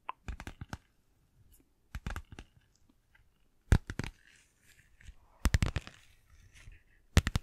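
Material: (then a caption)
Vinyl. Long nails tap and scratch a small, flat, apparently empty pink glossy plastic (vinyl) zippered pouch with a flamingo print. Quick clusters of sharp, dry clicks and crinkly taps come in irregular bursts, separated by quiet gaps filled with soft scratching. The sound is mostly low and thuddy, with brief bright edges on each tap.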